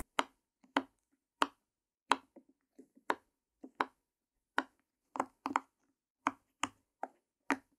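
Long nails and fingertips tap and press the hollow bubbles of a heart-shaped rainbow silicone pop-it toy lying flat. Sharp, hollow clicks and soft pops come at an irregular pace, some in quick pairs, each with a midrange knock and a thin bright edge. Every tap dies almost instantly, leaving a quiet, dry series of ticks with no low rumble.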